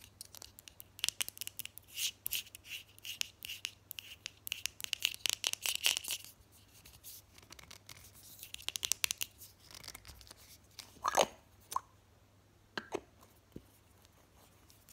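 Long fingernails rapidly tap and scratch the white screw lid and sides of a small purple plastic cosmetic jar held in the hand. Dense bursts of bright, dry clicks and scratchy rasps come in quick succession for the first six seconds, then thin into sparser taps with a few sharper knocks near the end. The sound is crisp and short, with almost no low end.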